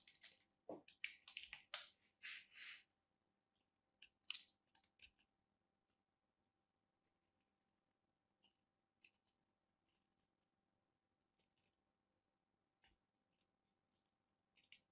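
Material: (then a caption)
Soap. A small, solid chunk of dry orange bar soap, held in fingers with long manicured nails, is carved and scraped with a small black knife blade, sending soap crumbs falling. Bright, crisp crunching scrapes come in quick bursts for the first few seconds, with a short cluster around the four to five second mark. Only sparse, faint, high clicks follow in an otherwise quiet background.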